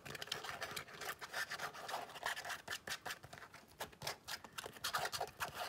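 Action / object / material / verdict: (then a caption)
scrape / leather long wallet / leather / none. Long nails scratch an open cream leather long wallet with a snap flap. The result is a quiet, continuous run of dry, rasping strokes, bright and papery with almost no low end. Each burst is short and dies away quickly.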